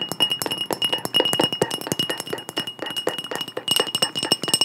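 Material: Glass.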